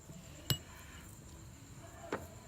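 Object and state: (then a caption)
Oil seal fully seated. A greased rubber oil seal is gently tapped into a motorcycle engine cover with a kitchen tool. Two short, sharp clinks ring out over a low background hum, and the changed tapping sound shows the seal is fully seated.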